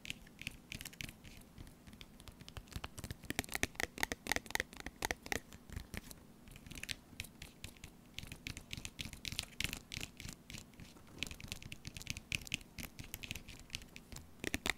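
Fingernails scratch the printed front of a small, sealed, full laminated foil-plastic tuna pouch near its bottom. It makes a steady run of quick, dry, crinkly scratches with a bright, papery edge and very short decays. A faint low hum sits underneath.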